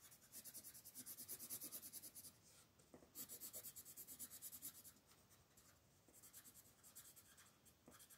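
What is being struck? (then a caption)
Wooden colored pencil on a paper coloring book page. A wooden colored pencil makes short, fast scratching strokes near the top edge of the picture on a flat paper coloring book page, while a hand with long nails holds the page. The strokes come as a rapid, steady run of bright, hissy scratches in bursts, with a louder stretch at the start, another in the middle, and a softer one near the end.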